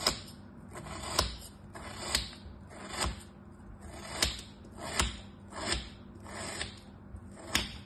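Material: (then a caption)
Kinetic sand. A solid kinetic sand crab shape resting on cloth is cut into slices with a small knife blade held by a hand with orange nails. Each cut makes a soft, gritty crunch that swells and fades, with a sharp bright crack at the peak, repeated steadily through the clip.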